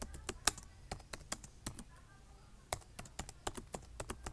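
Fingertips type on a black plastic laptop keyboard, tapping the keys in a steady run of about 18 short, sharp clicks. Each click is bright and dies away almost instantly. A brief pause falls near the middle before the typing resumes.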